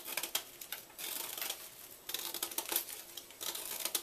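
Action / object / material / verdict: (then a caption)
scrape / chalk block cut with a small knife / chalk / none. A small knife repeatedly scrapes and cuts into a solid white gym chalk block held in the hand, breaking off powdery flakes. The result is a rapid run of bright, dry, crisp scratching and crackling bursts with sharp clicks, short decays, and no low end.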